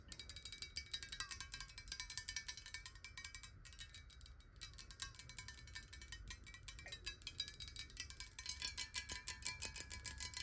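Long nails tap rapidly on the body and shoulder of a clear square glass bottle with water, held at an angle. The result is a fast, continuous stream of bright, high clinks over a faint, steady ringing tone. The tapping softens slightly in the middle and grows louder and sharper toward the end.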